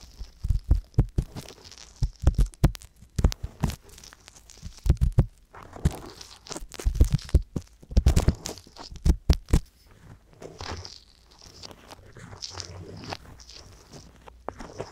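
A wooden-handled ear pick, held in fingers with long yellow nails, scratches and scrapes inside the open ear canals of a pair of small, soft, pale solid-silicone ear-shaped microphone mounts. Close, muffled rubbing and deep thumping scrapes come in quick bursts for the first ten seconds. They then give way to quieter, softer scratching.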